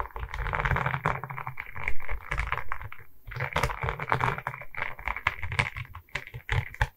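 Long red nails tap and scratch across a diamond painting on a wooden canvas, a flat rectangular board covered in small resin rhinestone beads on a wooden frame, held in both hands. Dense, rapid clicky taps mix with gritty scratching over a low, muffled thump. The sound has brief pauses and ends in scattered taps.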